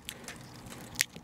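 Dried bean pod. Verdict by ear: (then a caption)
Dry. A really dry bean pod taken from the plant is handled, making three crisp, crackly snaps with bright, high-pitched clicks and almost no ring. The pod sounds brittle and crispy, with the beans inside dried out.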